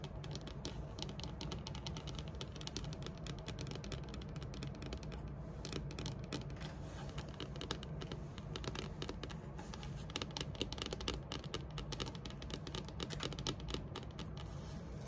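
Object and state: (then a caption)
Wooden tabletop tapped and scratched with fingernails. Long metallic nails tap and scratch across a large, flat, solid dark wood-grain tabletop. A steady stream of quick clicks and scrapes runs over a low, dull background with no pauses. The taps come too fast and close together to count apart.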